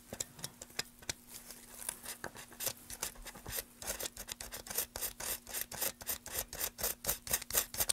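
A gloved hand cuts and scrapes the edge of a solid light wood block, held at an angle, with a carving tool. Quiet, bright, dry scraping strokes come in short bursts, sparse and uneven at first, then faster and denser in the second half. A faint steady low hum runs underneath.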